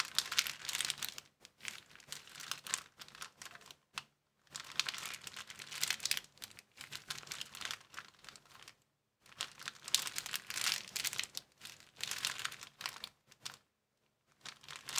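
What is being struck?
Thin plastic bag.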